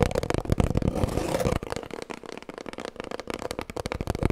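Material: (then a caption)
Cardboard. Long nails tap rapidly on an empty, hollow cardboard kitchen roll tube held horizontally. A dense, fast flurry of dry, papery clicks with a faint hollow tone gives way after about a second and a half to quieter, more separate taps that die away almost instantly.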